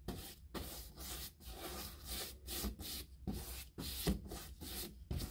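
A wide synthetic-bristle paintbrush, held in the hand, scratches and rubs across a large panelled molded hardboard interior door with a woodgrain texture, likely hollow-core molded composite, while applying white paint. Repeated back-and-forth strokes make a dry, bristly scraping hiss with a low rumble underneath, separated by brief pauses between strokes.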